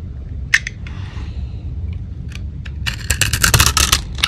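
A small, hand-held bar of dry Russian soap, painted purple with gold glitter on the surface and cream-white inside, is shaved, cut and scraped with a fingertip-held metal knife blade. Crunchy flakes break off, giving sharp, bright crackling snaps and scraping over a low steady hum, and the snaps grow denser and louder toward the end.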